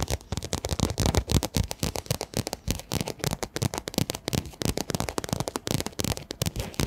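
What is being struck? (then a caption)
Quilted fabric pencil case. Long fingernails rapidly tap and scratch a pink quilted, padded fabric pencil case held close in front of a microphone. The result is a dense stream of short, dry, crackly taps with soft low thumps and scratchy brushing between them, each tap dying away almost instantly.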